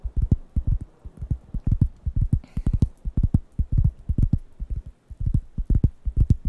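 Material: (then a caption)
Wood. Fingertips tap quickly on the flat surface of a large, thin, round, light-brown wooden coaster pad held in one hand near the microphones. The result is a rapid, uneven patter of dozens of short, low, dull thuds in small clusters, with almost no ring. A brief bright hiss passes through midway.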